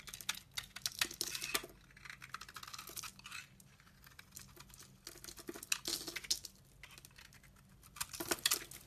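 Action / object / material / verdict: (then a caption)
scrape / soap bar scraped with a knife blade / soap / none. A solid, translucent orange ridged soap bar held in the hand is scraped and carved with a utility-knife blade, sending shavings falling. Bursts of bright, crisp scratching and shaving strokes alternate with quieter pauses, each stroke dying away almost at once.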